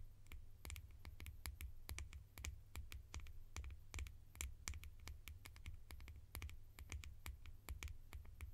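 Fingertips tap rapidly on plastic lids, making a fast, irregular run of sharp, bright clicks that die away almost at once. A steady low hum sits underneath the taps throughout.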